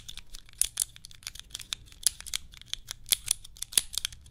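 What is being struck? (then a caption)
Hand-held plastic cube puzzle. Long nails tap and click on a small hand-held cube puzzle with clear plastic tiles, held close to the microphone. The result is a rapid, irregular run of sharp, bright plastic clicks that stop dead with no ring, over a faint low background hum.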